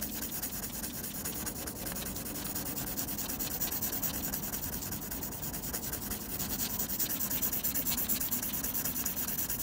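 A blue mechanical pencil tip scratches rapid back-and-forth graphite hatching strokes across a flat sheet of textured white drawing paper. The result is a steady, dense, bright scratchy rasp with a faint low hum underneath, holding an even level throughout.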